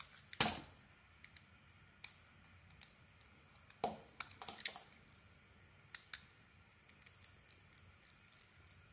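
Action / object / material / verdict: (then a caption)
scrape / bar of soap cut with a metal blade / soap / none. A solid purple Isana Med bar soap decorated with gold studs is held in hand and shaved into curls with a snap-off metal blade, revealing a cream-colored core. Quiet, crisp, bright scraping and clicking shaves come at an irregular pace. The loudest strokes are near the start and around the four-second mark, with softer short clicks between them.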